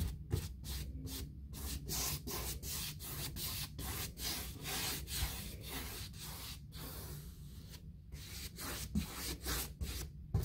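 A bristle paint brush is swept back and forth across a white, six-panel, hollow-core interior door of painted molded fiberboard with a handle hole. It makes steady, rhythmic, scratchy strokes with a bright, hissy texture over a constant low rumble. Each stroke has a brief dry swish that stops quickly.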